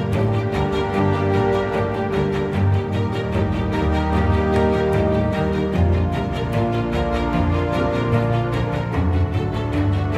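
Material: Nothing is struck.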